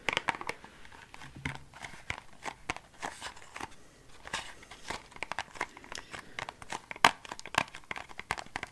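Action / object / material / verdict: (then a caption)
tap / small thin cardboard box, possibly cellophane-wrapped / cardboard / none. Long painted fingernails tap and scratch a small, hollow, rectangular Nag Champa incense box made of thin printed cardboard, possibly cellophane-wrapped, held up close. A rapid series of short, dry clicks and crinkly scratches follows, with quick taps that stop almost instantly.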